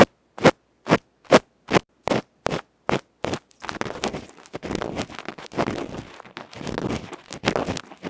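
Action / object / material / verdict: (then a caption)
scrape / small aluminium microphone capsule with felt face / aluminium / none. A bamboo ear pick scratches a small hollow aluminium electret microphone capsule with a black felt face, held in the fingertips. About eight separate, evenly spaced scraping strokes come first, each a short broadband rasp with a midrange body. These then give way to faster, denser, overlapping scratching and crackling that fills the rest of the clip.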